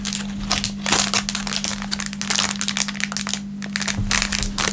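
An empty, thin clear plastic film packaging bag is crinkled between the fingertips over a wooden table. It makes dense, bright crackling and rustling in rapid overlapping bursts, with a steady low hum underneath throughout.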